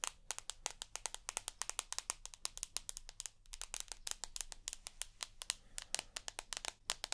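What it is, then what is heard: Smartphone glass screen and metal edge tapped with nails. Long nails tap and scratch on the glass screen and edge of a rose gold iPhone with an aluminium body. Around fifty quick, bright clicks come in uneven bursts, with faint scraping between them over a low, quiet hum.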